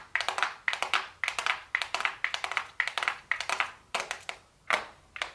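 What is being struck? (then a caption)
Cardboard makeup box. Super long blue acrylic nails tap on a small, flat, hollow, closed gold cardboard makeup box labeled "golden," held upright in both hands. The nails make quick, crisp clicks in rapid bursts with brief pauses between them. The taps sound bright and hollow, centred around 2 kHz with no low end, and each one dies away almost instantly.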